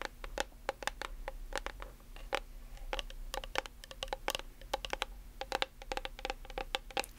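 Long nails tap and scratch the label and body of a plastic nail polish remover bottle with a blue cap. Many quick, dry, bright clicks with a slight hollow tone around 530 Hz are mixed with soft scratching. It all sits over a steady low hum.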